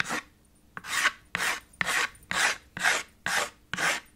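White chalk held in the fingers rubs back and forth in fast hatching strokes across the middle of a small black chalkboard slate with a red wooden frame. Each stroke gives a dry, bright, raspy scrape, repeating in a quick, fairly steady rhythm with short quiet gaps between strokes.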